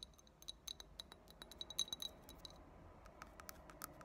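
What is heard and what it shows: Long fingernails tap quickly along the sides and rim of a small, clear, empty glass drinking tumbler with a thick tinted base. About twenty quiet, bright clinks ring near 3.9 kHz and die away almost at once, with faint background hiss between them.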